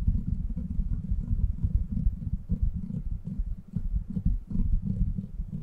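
Both palms and fingers cup and rub the sides of the steel mesh grille and metal body of a silver microphone. It produces a steady, deep, muffled rumbling and scraping that sits almost entirely in the low range, with no bright content. The level swells and dips throughout, with a brief lull just before the 4-second mark.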